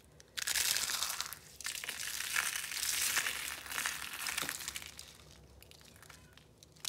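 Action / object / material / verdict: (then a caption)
scrape / soap curl flakes / soap / none. A handful of brittle pink and orange dried soap-curl roses and flakes is crushed and rubbed between the palms. Dense, bright crunching and crinkling bursts in, rises and falls for several seconds, then thins to a faint rustle before a last crackle at the end.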